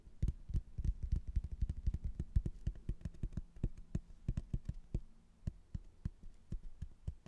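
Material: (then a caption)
Hardboard. A rigid, flat laminated hardboard placemat with a blue border and a printed castle photo, a solid thin board held in both hands, is tapped and scratched with fingernails. Rapid, dull, low-pitched taps land in an irregular stream, each dying away almost instantly, with a faint scratchy texture between them.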